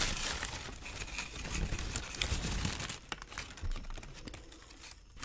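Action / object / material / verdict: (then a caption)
shake / thin tissue paper sheet / paper / none. A thin white tissue paper wrapping sheet printed with the Dr. Martens logo is held and crumpled in both hands, giving a steady, irregular crinkling with many small crackles and a brighter, busier stretch in the first three seconds. The sound then thins into softer, sparser rustles that fade near the end.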